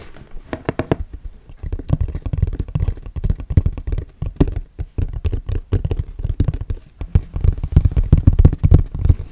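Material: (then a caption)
Cardboard. Fingertips and nails tap rapidly on the flat surface and sides of a hollow orange Kodak cardboard box held in front of the mic. The taps are dull, deep thumps with almost no high end, falling in quick, irregular flurries. Each tap dies away almost at once.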